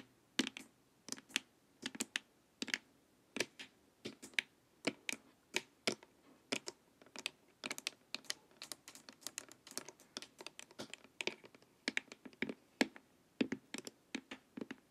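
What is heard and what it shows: Long nails tap the sides of a glossy, hollow, hard plastic LED face mask near the temples while it lies face-up. Crisp, dry clicks come in an irregular, unhurried stream, often in quick pairs. Each tap is short and bright with almost no ring.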